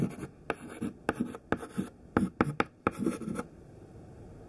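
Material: Chalk.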